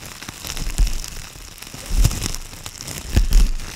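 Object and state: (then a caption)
Aluminum foil sheet being crumpled. A thin, loose sheet of aluminum foil is crumpled and crinkled between hands with long purple nails, close to a fluffy microphone cover. Bright, irregular crackling rustles continue throughout, swelling into three louder bursts with low, muffled thumps near the microphone.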